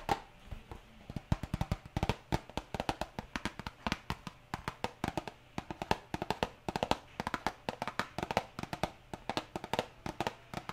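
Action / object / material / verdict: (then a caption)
tap / small printed cardboard box / cardboard / none. A small printed cardboard hair dye box, held in one hand, is tapped rapidly with long nails. It makes a long run of quick, dry, hollow taps with almost no ring and a soft low thud beneath each one. Steady rain hisses quietly in the background throughout.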